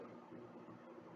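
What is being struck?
Nothing is struck.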